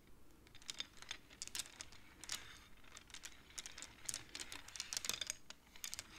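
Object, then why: Wooden abacus with wooden beads. Both hands push and tap the painted wooden beads of a wooden abacus with long nails, clacking the beads together. The result is a quiet, irregular stream of dry, bright clicks and clacks that stop instantly, with little low end.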